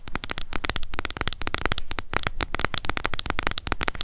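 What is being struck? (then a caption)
Plastic cushion foundation compact. Long nails tap fast on the lid of a closed, small, hollow pink plastic cushion foundation compact. A rapid, nearly continuous run of dry, sharp clicks with a hollow low knock under each tap and a bright, crisp edge that dies out instantly.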